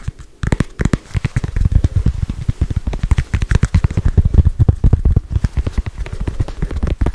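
A small, solid red foam stress ball with a soccer-ball pattern is held near the mic and tapped fast with long white nails. After a brief quiet start, a dense, steady stream of rapid, dull, low thuds follows, each dying away almost instantly with a faint crackly click on top.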